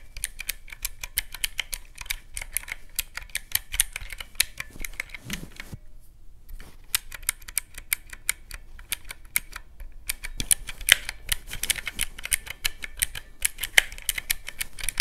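Fingertips and a thumb press the black round keys of a teal plastic mechanical-key calculator resting on a cloth. A fast, steady stream of sharp, bright plastic clicks is heard, with a short pause about six seconds in. Each click ends almost instantly.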